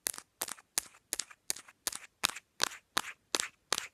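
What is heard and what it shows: Long nails tap a smartphone's patterned hard plastic case and flick its metal ring holder. Eleven quick bursts of bright, clicky tapping come at a steady pace, each a tight cluster of sharp, dry, high-pitched clicks with almost no ring or low end.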